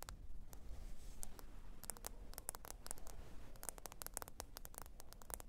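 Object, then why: Smartphone glass screen. Long pointed nails tap quickly and irregularly on the glass screen of a small, thin black smartphone lying flat, screen up, on faux fur. Each tap is a sharp, bright click that dies away almost at once, sitting over a constant low rumble.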